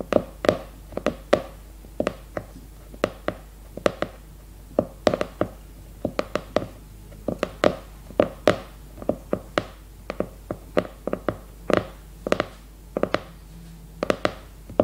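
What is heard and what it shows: Long red nails tap and scratch the glossy cardboard cover of a new leopard-print hardcover notebook held upright. Dozens of quick, dry taps with a hollow mid tone around 600 Hz come in an irregular rhythm, each dying away almost instantly, with faint scratching between them over a quiet background.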